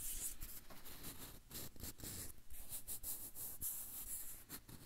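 Fingertips rub and tap the peel of a whole yellow banana held in both hands close to the recorder. Soft, dry rubbing with bright, airy edges is broken up by dull, low taps that thud through the quiet, close sound.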